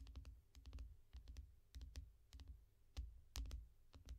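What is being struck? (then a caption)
Glass tablet screen in a foam rubber case. Long nails on both hands tap rapidly on the glass screen of a small tablet lying flat in a yellow foam rubber case. Sharp, bright clicks come in quick clusters over a soft low thump, each tap dying away almost at once.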